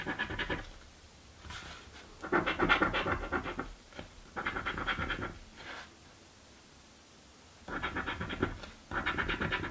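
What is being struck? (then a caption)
Paper scratch ticket scraped with a coin. A coin scratches the grid of a crossword-style paper scratch lottery ticket held flat by the other hand. Rough, gritty scraping comes in short bursts, strongest in the midrange with some brightness, separated by quiet pauses.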